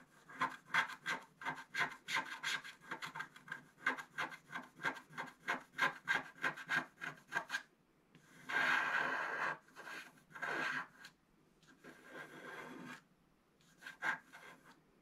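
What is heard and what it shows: A wooden stylus scratches long lines along the right border of the black coating on a flat scratch art card. About eight seconds of quick, evenly paced rasping strokes give way to longer continuous scrapes with short pauses, then a few final strokes. The scratching is dry and papery, centered in the mid-to-high range.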